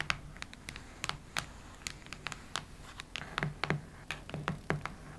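Long nails tap and scratch the cardboard cover of a cactus-print hardcover notebook. Brief, dry clicks and short scratchy strokes come in a quick, irregular series, each stopping almost at once. A faint low hum sits steadily underneath.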